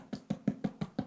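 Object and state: Baked-through soda bread (hollow).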